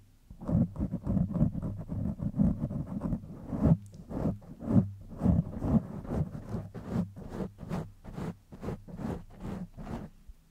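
Fingertips and nails of both hands scratch the top of a black foam windscreen on a silver microphone, then rub its sides. The result is a dense run of soft, muffled scratching and rubbing strokes, heavy in low, boomy rumble with a faint airy hiss above.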